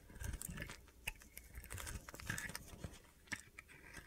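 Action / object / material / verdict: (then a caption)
scrape / bar of soap scraped with a knife blade / soap / none. A solid, hand-sized white soap bar with an orange layer is held in the hand while a utility knife blade scrapes and carves thin flakes off it. The result is a quiet run of short, crisp, gritty scraping and crunching ticks with bright edges and some low thuds, closely spaced across the clip.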